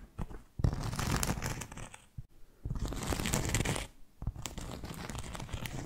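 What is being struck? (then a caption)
Round flat cork board. A solid, round, flat cork board trivet about 20 cm across is held in one hand and scratched with long fake nails. Rough, crackly scratching comes in three sustained bursts separated by brief pauses. The sound is full-bodied and dense, with a low rumbling base under its gritty texture.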